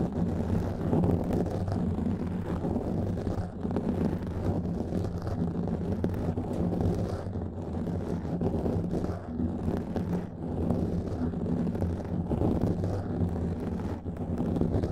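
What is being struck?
Foam microphone windscreen.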